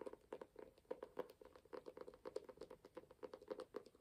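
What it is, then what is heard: Embossed hardcover book. A small, ornate, closed hardcover book with a burgundy and gold embossed cover is held upright in one hand while fingertips and nails tap and scratch its cover, and it is tilted at the end. The result is a quiet, rapid, uneven run of short, dry taps with a hollow mid-pitched tone around 430 Hz, mixed with faint scratchy brushing. Each tap dies away almost instantly.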